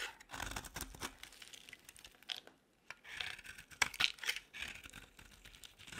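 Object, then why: Soap bar scraped with a metal blade. A metal utility-knife blade scrapes repeatedly across an oval, palm-sized, solid orange bar of dry soap, shaving off flakes. Dry, bright scraping and crisp cutting sounds come in quick strokes with short pauses between them. The sound sits mostly in the high range, with little low end and almost no ring after each stroke.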